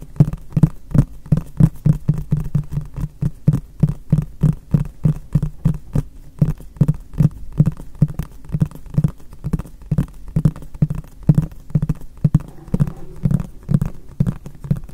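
A medium, hollow, white frosted translucent plastic storage box is held upright and tapped with the fingertips of both hands. The result is a rapid, steady stream of short, dull, hollow thumps with a low body around 117 Hz that die away almost instantly.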